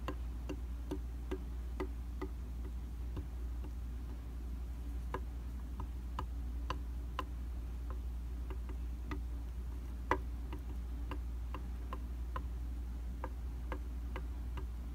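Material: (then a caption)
Glass. A small dark tool with soft rubbery tips taps the surface of a dry, round glass vanity mirror. It makes quiet, short, clicky ticks over a steady low hum.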